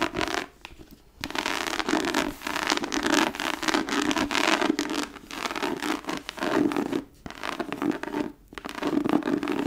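Long nails scratch and drag across the textured cover of a thick, embossed tooled leather book lying flat. Dry, raspy scratching comes in uneven bursts of steady strokes, broken by short near-silent pauses, with a hissy brightness over a faint low-mid body.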